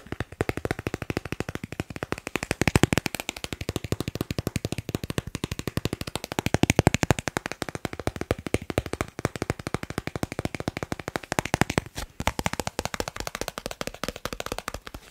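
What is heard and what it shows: A thin, solid, credit-card-sized dark blue plastic Snipes store card is held in one hand and tapped fast with fingertips and nails. The result is a dense, continuous stream of short, dry clicks, about ten per second, with very little ring and some louder bursts.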